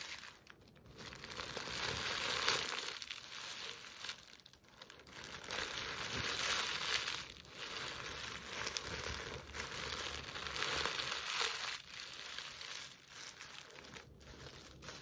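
Long nails scratch, grip and squeeze the coarse jute weave of a large burlap Christmas stocking decorated with a plaid fabric letter A. The result is dry, bright crinkling and rustling in uneven, swelling bursts with little low end.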